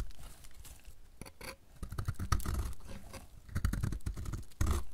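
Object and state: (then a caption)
Dry bar soap being scraped. A utility knife blade scrapes thin flakes off the cut face of a solid, pink-red painted dry soap bar held in the hand. Short, dry, crisp scraping rasps come in uneven bursts, with a few louder strokes standing out.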